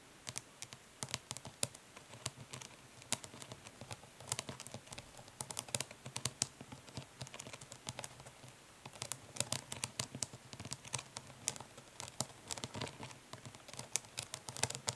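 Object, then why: Plastic makeup palette. Long nails tap rapidly on the printed lid of a closed, flat plastic eyeshadow palette with a hollow case. The result is a dense, uneven stream of crisp, bright clicks that die away almost instantly, over a faint steady low hum.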